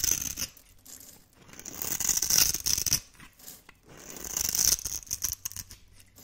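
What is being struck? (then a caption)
Bar of soap scraped with a metal blade. A hand-held solid blue bar of dry soap is scraped with a metal blade, producing bright, crunchy scratching strokes as shavings and cubes come off. The scrapes swell and fade in two long passes with quieter short scratches between them.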